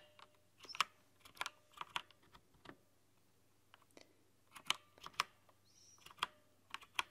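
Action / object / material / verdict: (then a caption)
tap / plastic mechanical keyboard keys / plastic / none. Long painted nails and fingertips type on a full-size LED-backlit mechanical keyboard with white translucent plastic keycaps in a dark setting. About twelve sharp, bright plastic clicks and taps come in irregular bursts with quiet gaps between them. Each tap dies away almost instantly.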